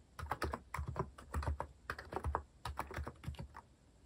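A compact white-cased plastic mechanical keyboard with plastic cat-themed keycaps is typed on quickly with fingertips. It gives a rapid, uneven run of short, dry clicks and clacks with a low thock underneath and a brighter tick on top.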